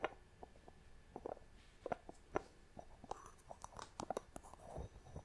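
Long nails tap and scratch the thick wooden lid and the glass sides of a small clear glass box held in the hand. A quiet series of short, dry, woody clicks is heard, mixed with soft scraping strokes, with brighter glassy ticks toward the end.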